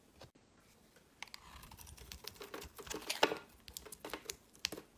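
A solid, pale green, embossed bar of soap, hand-sized and held in the hand, is carved with a metal utility knife blade so that chunks break off. The sound is a run of short, crisp scraping and cracking clicks with bright high crackle and very little low end. The carving picks up after a quiet start, and the sharpest snap comes near the three-second mark.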